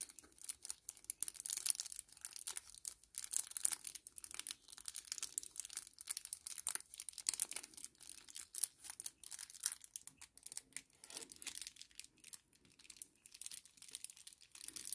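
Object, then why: Small kraft paper sachet. A small, flat kraft paper sachet is crinkled by fingertips in the hand, then pressed flat on a table. It makes a quiet, steady stream of dry, crackly crinkles and brief tearing-like rustles, almost entirely bright and high with no low end. Each crackle stops instantly with no ring.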